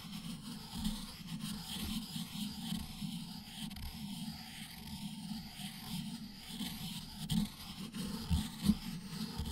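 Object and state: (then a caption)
Ink stick ground on a stone inkstone. An ink stick is pressed by the fingertips and ground in circular strokes on a round, black, palm-sized solid stone inkstone, with its wet ink well beside the grinding surface while the other hand steadies the stone. The result is a quiet, continuous low grinding rub with a faint high hiss above it, swelling into a few slightly louder scrapes toward the end.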